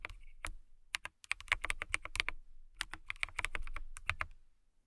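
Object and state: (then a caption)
Acrylic mechanical keyboard being typed on. Long nails tap and type on a clear acrylic mechanical keyboard with transparent keycaps. Sharp, bright clicky keystrokes come in quick bursts with a short pause in the middle, each with a crisp high tick and a soft low thud.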